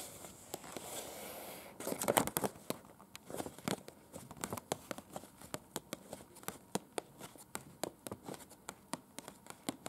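Very long pointed acrylic nails scratch and tap a thin folded paper museum brochure, printed with floor plans and small photos, lying flat on a bed. A soft, hissing scrape and a brief crinkly rustle of the paper give way to a quick, uneven run of sharp, dry clicks. The sound is quiet and close, and each tap stops almost at once.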